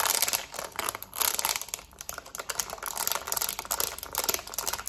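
Long nails rapidly tap the rubber buttons of a black plastic TV remote, producing a fast, dense stream of bright, dry clicks with almost no low end. The taps come in uneven bursts, each dying away almost immediately.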